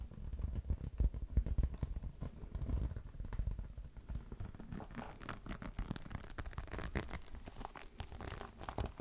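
A green crocodile-embossed faux leather clutch is scratched with fingernails using both hands, first handled flat and then held upright. Dense, rapid scratching and crinkly rustling are heard, heavy in the low end. The scratching turns brighter and thinner in its second half.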